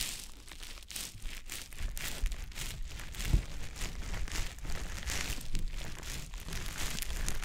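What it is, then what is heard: Wet konjac sponge rubbed on a microphone ear. A small, soft, damp green teardrop-shaped konjac sponge puff, held in fingers, is rubbed and squished over the silicone ear of a dummy-head microphone. The result is a continuous wet, crinkly rustling with bright hiss and a low rumble, swelling in repeated strokes.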